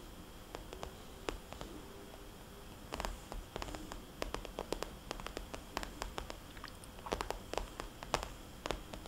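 Fingernails on both hands tap a small, rounded, glossy red polka-dot vinyl cosmetics bag. The taps come as quick, sharp clicks with a soft, hollow body. They land in irregular clusters over a low background hiss, and each one dies away almost at once.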